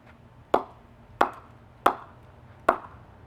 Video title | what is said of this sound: Kookaburra Vs GM Vs Hammer Cricket Bat 2020 | will hear it differently because it's double pressed